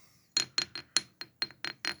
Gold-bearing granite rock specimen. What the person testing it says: It kind of sounds like ceramic metal.